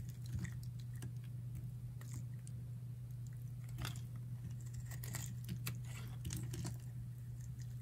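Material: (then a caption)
Soap. A palm-sized, solid, dry green bar of soap is held in hand and shaved with a metal utility knife blade into curled flakes. Quick, crisp, bright scraping crunches come in irregular bursts over a steady low hum.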